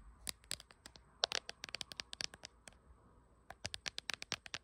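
Long acrylic nails tap and scratch the back of a small, hand-held smartphone in a glossy printed dragon-pattern hard plastic case. About 24 sharp, bright clicks with dry scratchy edges come in quick bursts, with a pause before a final run. Each click dies away instantly, over a faint steady high tone.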